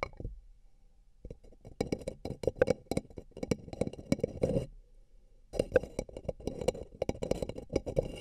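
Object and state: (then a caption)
Paper cup tapped. Fingertips and nails tap along the sides of two empty, hollow, beige paper cups placed over the microphone ears. The taps come as quick, dry, hollow clicks with a faint ring around 500 Hz, in irregular bursts. The tapping pauses briefly near the middle of the clip, then resumes.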